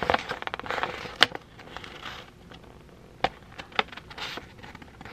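A thin white sheet of printed printer paper is folded and crinkled between the fingertips of both hands. Dense, bright crackling fills the first second, and sharp papery snaps stand out near 1.2, 3.2 and 3.8 seconds. Softer rustles and crinkles fill the gaps between them.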